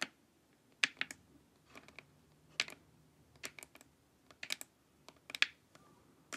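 Long acrylic nails tap and scratch across the top and sides of a glossy, hollow plastic LED face mask lying empty and face-up. The result is an irregular series of sharp, bright, clicky taps that stop dead, with faint scratching in between.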